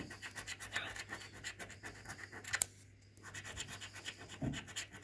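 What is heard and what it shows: A coin edge is scraped repeatedly across the PRIZE panels of a thin, flat, red printed paper lottery scratchcard with a scratch-off coating, lying on a wooden table and held by fingers. Quick, rhythmic, bright scratchy strokes repeat steadily, with one sharper, louder scrape just before a short quiet pause. The scraping then resumes in the same rhythm.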